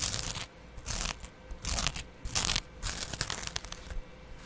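A small double-edge razor blade held in the fingertips scratches across the dark green scouring layer of a dry, hand-sized yellow foam kitchen sponge, held in one hand right in front of a black microphone stand. Bursts of bright, raspy, tearing scratches come in uneven strokes, separated by quiet gaps.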